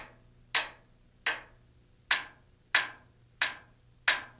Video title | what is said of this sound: RotorWay Título 1 | you should notice a solid sound resonating from the blade